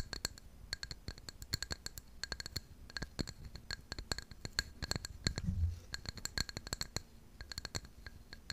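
Long pink nails tap and scratch the outer surface of a tall white ceramic mug with a blue floral pattern, hollow and held close up. A rapid, uneven run of dense, sharp clicks with bright, glassy high ticks rings briefly over a low rumble, with a louder low thump swelling near the middle.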